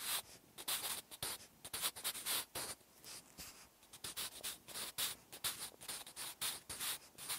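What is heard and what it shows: A wooden graphite pencil writes a line of Korean handwriting on a large white paper notebook page resting on a solid backing. Many short strokes make quiet, bright scratching bursts with gaps between them. The sound is almost entirely high-pitched, with very little low end.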